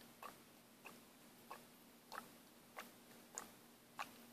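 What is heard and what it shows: A small plastic paint bottle is shaken by hand, and the mixing ball inside rattles. Seven short, bright clicks sound at a slow, uneven pace over a faint steady low hum.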